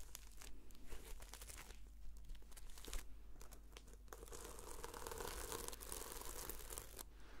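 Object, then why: Sequin-covered notebook cover. Long fingernails slowly scratch and flip the sequins on the cover of a red sequin-covered notebook. Dense, crisp crinkling and ticking scratches run throughout over a steady low hum, growing into a fuller, brighter rustle in the second half.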